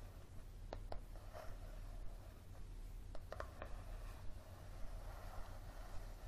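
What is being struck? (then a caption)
Softcover paperback book. Fingertips and nails tap the coated cover and page edges of a thick, solid, yellow softcover paperback book, making six short, dry, quiet clicks with almost no ring. Faint rubbing and scratching fill the gaps between taps, over a steady low hum.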